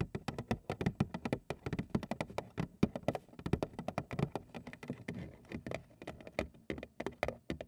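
A large, hollow, printed cardboard cereal box, possibly full or empty, is held in both hands and tapped on its front panel with long acrylic nail tips. About 45 quick, dry taps patter in an uneven, rapid rhythm, each with a soft low-mid thud and a brief clicky edge. The taps die away almost instantly, with no ring.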